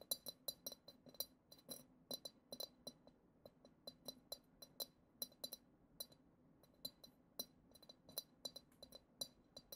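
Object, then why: Glass goblet. A long acrylic nail taps the side of the bowl of a hollow, clear glass goblet decorated with glitter, about 36 times in quick, irregular bursts. Each tap is a bright, high glassy click that dies away almost instantly, with little low end beneath it.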